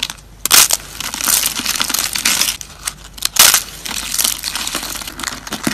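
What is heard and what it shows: Thin, dried, dark brown soap slices are snapped and crushed between fingers, making dry, bright crunching and crackling with little low end. The crackles run steadily, with two louder sharp snaps near the start and about halfway through.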